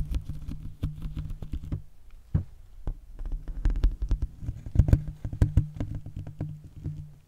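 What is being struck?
Small cardboard box.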